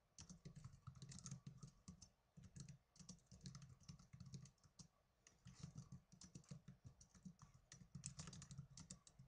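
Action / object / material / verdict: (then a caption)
tap / plastic netbook keyboard / plastic / none. Fingertips and blue nails type fast with both hands on the plastic keys of a small black plastic netbook keyboard. Quick runs of soft, clattering clicks, each with a dull low thump and a bright tick, come in bursts separated by short pauses.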